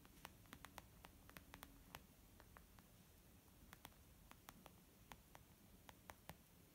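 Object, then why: Leather zip makeup pouch. A flat, soft white textured leather zip makeup pouch lying on a wooden table is tapped gently with long almond nails and fingertips from both hands. The taps come as quiet, sharp, bright clicks scattered irregularly over a steady low hiss, each dying away instantly.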